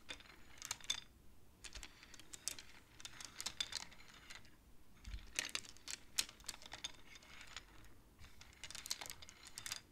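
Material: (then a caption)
Wood. Long-nailed fingertips tap and push painted wooden beads along the metal rods of a wooden abacus, making them clack together. Quiet, bright clicks come in quick clusters separated by short pauses, each click dying away almost instantly.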